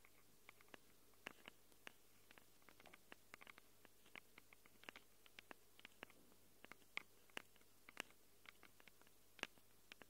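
Long acrylic nails rapidly scratch and tap the metal mic capsules of a small black handheld Tascam recorder. About 39 quick, dry clicks and scrapes come out sharp and bright, with no ring, over a quiet, steady low hum.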